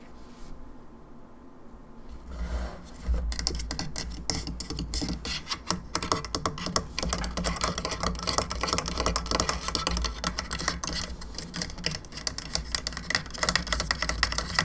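Long pink nails tap and scratch rapidly across the face and cranium of a hollow molded plastic skull candelabra lamp with lit eyes and three plastic candle arms. After a quiet first few seconds, a dense stream of short, dry, bright clicks and scratchy rasps starts and keeps going over a steady low hum.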